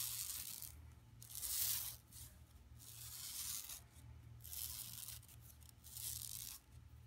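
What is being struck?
Woven plastic mesh bag.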